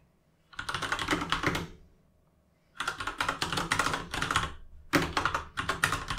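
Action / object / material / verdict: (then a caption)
tap / mechanical keyboard with plastic keycaps / plastic / none. Fingertips of both hands type on a full-size mechanical gaming keyboard with plastic keycaps resting on a desk. Three bursts of rapid, bright, clacky keystrokes are separated by a brief pause after the first. Each key hit is short and sharp, with little low thump.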